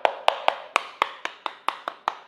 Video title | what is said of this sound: Komplit Dan Bertenaga Review Bor 13mm OSSEL BT 080 & OSSEL BT 817 | kalau dari segi body keduanya ini cukup solid ya. Kalau diketok-ketok ini paling yang kopong cuman ada di bagian tangan atau handle-nya